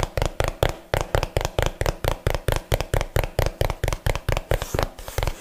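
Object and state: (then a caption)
Cardboard box, hollow. A small, hollow, yellow printed cardboard box is held upright and tapped and knocked with fingernails and fingertips. About 27 short, dry knocks come in a quick, uneven rhythm, each a low hollow thump with a brief click and almost no ring.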